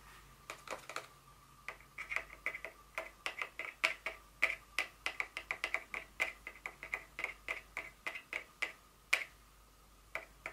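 Very long fingernails tap and scratch a small, hollow, empty white cardboard inner box from a Dior fragrance box, lying on a table with its flaps open. About forty sharp, dry, bright clicks come in an uneven rhythm, each dying away almost instantly with a faint papery tone around 2.3 kHz.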